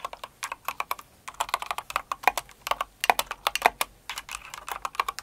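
Both hands with long acrylic nails type quickly on a Cinnamoroll-themed mechanical keyboard with plastic keycaps. The result is a rapid, uneven stream of crisp, clacky keystrokes that die away almost instantly, with a midrange body, a bright top and no low end. A few strikes land noticeably louder.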